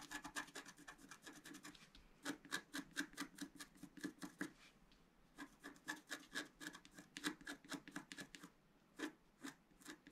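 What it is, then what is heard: Scratch art paper being scratched. A pointed wooden stylus scratches a flat black-coated scratch art paper sheet on a table, working in its lower left area while the other hand holds the sheet flat. Quick, dry rasping strokes come in rhythmic bursts, each with a bright scratchy edge and a soft low rub beneath. Short pauses fall near 2, 5 and 8.5 seconds.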